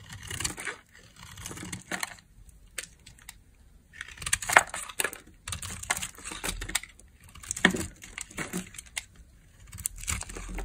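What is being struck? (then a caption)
Bar of soap scraped with a metal blade. A metal utility blade scrapes across the face of a square peach bar of dry soap embossed "EMBRACE SOAP BAR," held in a hand with long nails, shaving off crumbly dry flakes. Bursts of bright, gritty scraping and crackling come in uneven strokes, with short quiet pauses between them.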